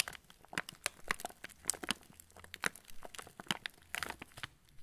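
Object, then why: Plastic film cracker packet. A full yellow plastic-film TUC cracker packet is tilted and squeezed by fingertips, crinkling the wrapper. A rapid, irregular run of bright, dry crackles and crunchy snaps sounds over a faint low hum, each crackle dying away instantly with no ring.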